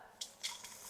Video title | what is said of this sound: कुरकुरीत बटाट्याचा चिवडा 2 प्रकारे - चिवडा तेलकट, लालसर, मऊ पडू नये म्हणुन खास टिप्स - फराळी चिवडा | कुरकुरीत आवाज येतोय ना